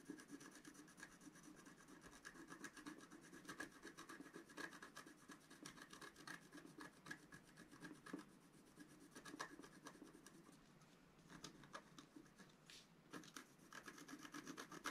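A wooden stylus scratches continuously across a thin, flat, black-coated scratch art sheet while the other hand rests on the sheet. The result is a quiet, steady rasping of many quick, short strokes with a bright, papery edge and a faint tone around 1.6 kHz. The scratching briefly eases near the middle, then picks back up.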